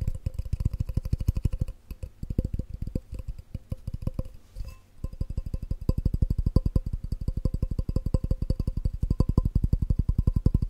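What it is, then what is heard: Glass measuring cup. A hollow, empty clear glass measuring cup with red markings is held over a microphone and tapped fast with the fingertips and nails. The result is a rapid stream of short, dull taps with a low thump and a faint glassy ring, with a brief lull around the middle before the tapping picks back up.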